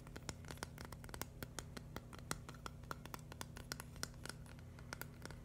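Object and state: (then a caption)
Plastic brick mosaic tapped with nails. A flat, hand-sized green and white mushroom mosaic built from plastic LEGO bricks is scratched and tapped rapidly with fingernails. Quick, dry plastic clicks and faint scratches follow one another irregularly, each dying away almost at once, over a steady low hum.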